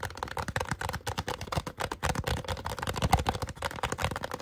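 A small, hollow, empty white polystyrene foam cup with a drawn face sits upside down and is gripped, tapped and scratched with fingertips and nails throughout. The result is a fast, busy stream of dull, hollow taps and dry scratching, heavy in the low end with very little high content, each tap dying away almost instantly.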